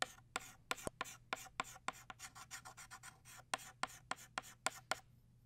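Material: Chalk.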